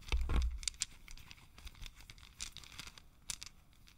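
A long strand of small, solid, round wooden beads is held in both hands while the fingers roll and rub the beads together. The beads click against each other in quick, irregular bursts of bright, dry ticks and soft rustling, with a brief low thump at the start.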